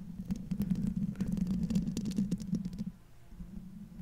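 Long fingernails on both hands scratch the silver metal mesh grille over the hollow head of a large condenser microphone, producing a dense, rumbling scratch centered low around 200 Hz with quick bright ticks scattered through it. The scratching runs steadily for about three seconds, then drops to a faint, softer rustle until the end.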